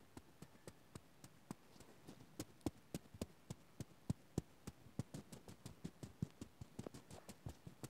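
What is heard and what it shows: A small stuffed Oswald Tsum Tsum toy, made of soft light blue, black and white terry/plush fabric and filled with stuffing, is held in the hands and squeezed and rubbed with the fingertips. It gives a quiet, irregular run of about 34 short, dull taps and soft crackles, mostly low in tone with no ring, over a faint hiss.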